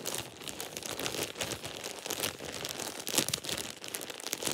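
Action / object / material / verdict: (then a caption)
scrape / thin plastic shower cap / plastic / none. A thin, empty plastic shower cap is bunched up and squeezed between both hands and fingertips. It makes a steady, bright crinkling with quick crackles and little low end. A few louder crunchy bursts stand out, the sharpest just past the three-second mark.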